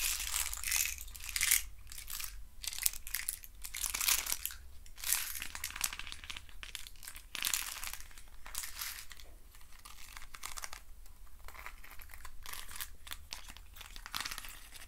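A hand-sized hollow hexagonal box made of thin wooden craft sticks is handled, rubbed and scratched with fingertips and nails. It gives a dense, bright, crinkly crackling with short dry bursts that swell and fade over a steady low hum.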